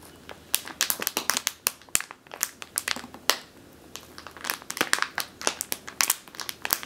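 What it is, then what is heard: Plastic bag of flour being squeezed. Long teal nails squeeze and crush a medium clear plastic bag with a purple label, full of flour or grain. About thirty sharp, bright crinkles and crackles pop out in quick, uneven bursts, each dying away almost instantly, with almost no low end beneath them.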